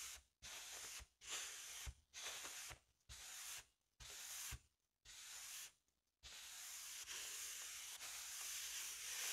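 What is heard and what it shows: A large, hollow, inflated blue latex balloon is first touched by hand, then brushed and rubbed with a soft makeup brush. Seven separate airy, hissing brush strokes are followed by steady, continuous rubbing that fills the rest of the clip.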